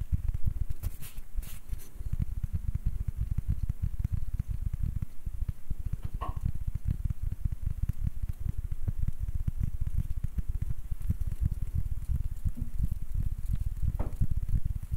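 Fingertips and short nails tap and scratch a palm-sized, light, round wooden ribbed ball with a grooved surface, held in both hands. The result is a steady, dense patter of soft, dull, low knocks that die away instantly, with a few faint brighter scratchy streaks mixed in.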